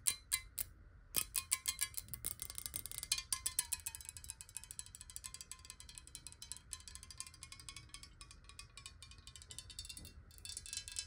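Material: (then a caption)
Glass. Long acrylic nails tap rapidly on the side of a clear, hollow glass water bottle that is partly filled with water and held tilted. A quick run of short, bright clicks and pings, with a faint ringing tone just above 1 kHz, picks up into a dense, steady patter. Each tap fades almost instantly.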